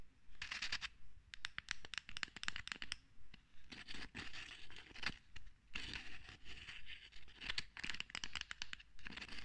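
Long red fingernails repeatedly scratch and scrape the ridged metal screw cap of a full bottle of green contents, which is held in the other hand. Quick runs of bright, raspy scratching strokes come in bursts with short pauses between them, over a faint low rumble.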